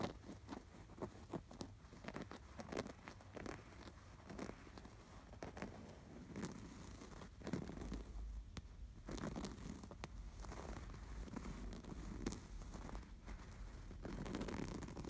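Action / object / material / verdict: scrape / stuffed canvas pillow with embroidered appliqué / canvas fabric / none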